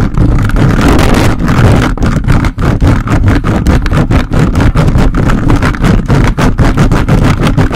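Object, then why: Metal mesh microphone grille. The plastic fingers of a toy robot grabber hand grasp and scratch a large hollow metal mesh microphone grille. The result is a loud, continuous, rough scraping rumble, heavy in the low end, broken by rapid irregular bursts with only brief dips between strokes.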